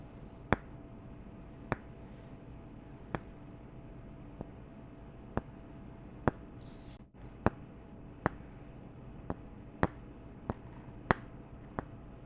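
Two wooden candle tops (lids) are tapped together in about a dozen separate, short, dry clicks spaced roughly a second apart. Each tap dies away almost instantly, over a steady low background hiss.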